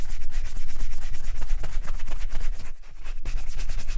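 A black leather Chelsea boot, worn on a foot, is buffed with a wooden-backed bristle brush in fast rubbing strokes over the upper. The result is a dense, steady scratchy swishing with a low rumble underneath, easing briefly near the end before the brisk strokes resume.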